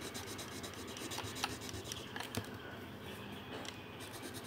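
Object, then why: Marker tip on a thin paper sheet. A pink-bodied marker is rubbed back and forth across a thin paper colouring sheet resting on a table while colouring. The result is a quiet, steady, dry scratching and rubbing with bright, hissy texture and a few slightly louder strokes standing out.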